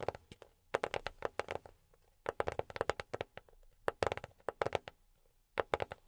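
Fingertips fitted with silicone pads tap on a hollow, dark grey rectangular cardboard box in four quick bursts, about 27 taps in all. Each tap is a short, soft, hollow knock with a dull mid pitch that stops at once without ringing.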